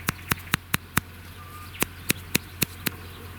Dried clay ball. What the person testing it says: No cracks, continue, good sound